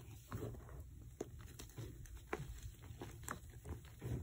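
Bare hands scoop and squeeze small lumps of dry white gym chalk (magnesium carbonate) powder with yellow specks in a black bowl, crumbling them through the fingers. Soft, dry crunches and brief crackling snaps rise out of a low, muffled rustle. Each crumble is short and dies away almost at once.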